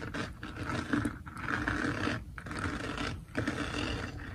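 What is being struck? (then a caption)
Diamond painting canvas covered in plastic resin drills. Fingertips and nails of both hands scratch and rub across a flat, finished diamond painting made of plastic resin drills on canvas. The result is a steady, gritty rasping texture with short breaks between strokes, fairly quiet, with a rough low-mid body and little high brightness.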